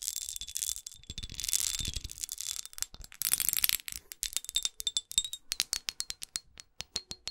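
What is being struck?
Faceted glass perfume bottle.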